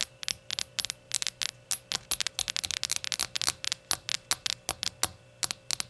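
Rainbow-colored shot glasses are tapped and fidgeted with, giving a quick run of bright, clinking, coin-like taps that die away almost at once. The taps come in uneven bursts and clusters over a faint steady hum, with no speech.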